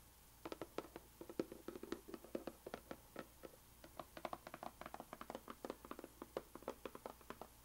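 Fingertips and long painted nails tap and lightly scratch the surface and edges of a small, closed, white rigid cardboard puzzle box lying on a bamboo mat. The result is a quiet, steady patter of dozens of quick, dry, hollow taps with a mid-low body, each dying away almost instantly, mixed with faint scratchy brushes.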